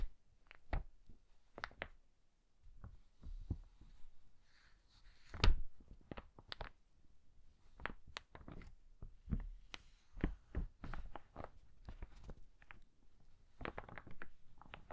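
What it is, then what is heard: Old paper book, pages flipped. An old hardcover book with yellowed paper pages is riffled and flipped with the fingertips, making a quiet, irregular series of soft low thumps. Each thump is mixed with short, bright papery flicks and crackles that die away almost instantly.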